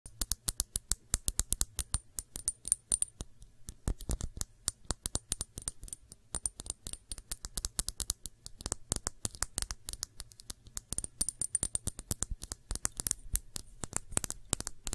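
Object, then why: Small glass shot glass. A small, clear, empty glass shot glass with a thick base is held in the hands and tapped rapidly with long manicured nails. The result is a fast, irregular stream of sharp, dry clicks with a faint high glassy ring over a low steady hum.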